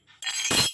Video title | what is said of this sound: Semar mesem pejetan tangan pamor kolomuyeng | saya jatuhkan bunyi ya kayak kompeng-kompreng